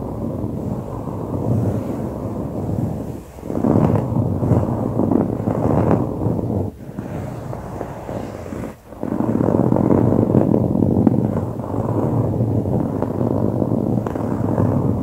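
Both hands scratch dark grey coarse-woven fabric upholstery, likely a soft padded couch cushion, with short fingernails and fingertips in quick repeated strokes. The result is a dense, steady, low-to-mid rustling scrape with little brightness, broken by brief pauses around 3, 7 and 9 seconds before the scratching resumes.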